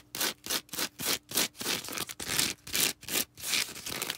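Long red nails scratch and rub a small star-shaped green foam sponge held close. The result is a fast, uneven run of bright, hissy scratching bursts with short gaps, and almost no low end.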